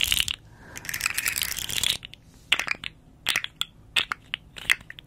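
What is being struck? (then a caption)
Segmented hard plastic fidget toy. Long nails scratch and tap along the ridged segments of a small, hollow, rainbow-striped hard plastic articulated slug fidget toy held upright. A bright, dry rasp of scraping runs for about two seconds, followed by a series of separate crisp, high-pitched clicks as the segments move, each dying away almost instantly.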